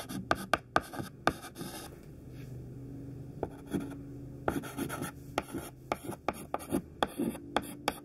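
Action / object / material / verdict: scrape / chalk stick on a chalkboard / chalk / none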